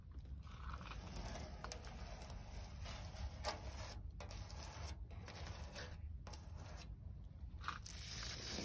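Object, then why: Rusty steel plate scratched with fingernails. Long pointed red nails scratch and drag across a large, flat, corroded rusty steel sheet lying near yellow leaves outdoors. Dry, gritty scraping rasps run over a steady low rumble, with bright hissy streaks and brief quiet gaps between strokes. A sharper click stands out near the middle.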